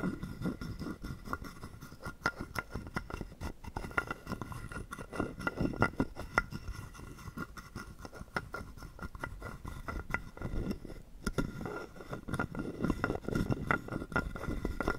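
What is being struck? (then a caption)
Carved wooden frog guiro scraped with a wooden stick. A hollow carved wooden frog guiro, held in the palm, is played by scraping a wooden stick along its ridged back. The result is a steady stream of dry, rapid ratcheting scrapes and taps with a faint hollow tone near 1.4 kHz, mostly low-bodied and short-lived.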